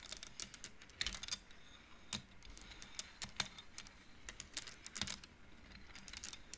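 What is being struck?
Wooden bead abacus.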